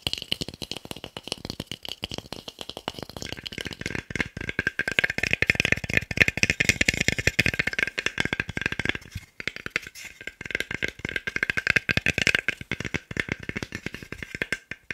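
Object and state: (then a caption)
Wooden block. A small, solid, pale wooden cube, held in the hands near a microphone, is tapped rapidly with fingertips and nails. The result is a dense stream of sharp, dry clicks with a bright, hollow tone centered around 1.8 kHz and almost no ring. The tapping dips briefly just after nine seconds, then resumes.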